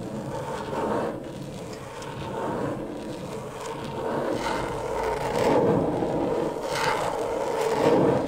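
Long pointed acrylic nails on both hands quickly tap and scratch the plastic surface of a flat, thin, backlit rectangular LED tracing pad lying flat. The result is a steady, dense scratching and rubbing texture centered in the mids, with little low end. It swells slightly louder toward the end, and no separate hits stand out.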